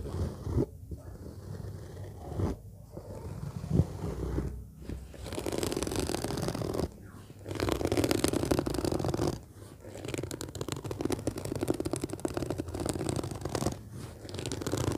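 Fingertips and short nails scratch and tap the top of a large, hollow, orange fabric-covered suitcase lying flat, which has a black zipper. Soft, low, muffled scratching comes in rough bursts with brief quiet pauses, mixed with occasional dull taps on the fabric.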